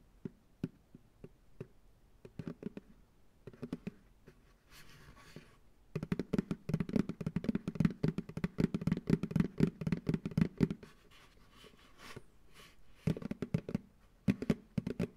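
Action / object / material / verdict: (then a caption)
tap / plastic pail / plastic / none. Fingertips drum on the base of an empty, hollow, medium white plastic ice cream pail resting upside down on a lap. Quick, uneven taps produce short, dull, hollow thuds with a low body and almost no ring. Sparse taps and a brief soft rustling pause give way to dense, rapid drumming in the middle, then scattered taps again.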